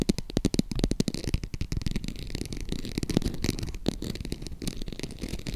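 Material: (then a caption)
Faux leather. A small, hollow green faux crocodile-embossed leather zip purse is tapped and scratched across its textured front with long acrylic nails. The result is a rapid, continuous run of short, dull taps mixed with scratchy rasping, mostly low and muffled with little ring.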